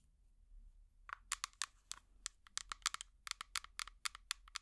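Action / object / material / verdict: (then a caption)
tap / small plastic jar with plastic lid / plastic / none. A small, hollow, empty clear plastic jar with an orange plastic lid is tapped with long metal finger picks. After about a second of near silence, a run of about nineteen sharp, bright, clicky taps follows in quick, uneven succession, each dying away almost instantly with no ring.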